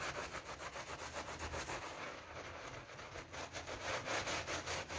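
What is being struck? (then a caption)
Wet PVC coil door mat. A wet pink PVC coil door mat covered in foam is brushed vigorously with a hand brush held in a rubber-gloved hand. A steady run of quick, rhythmic scrubbing strokes makes a broad, bright, hissing rasp with a wet, foamy texture, and each stroke swells and fades in close succession.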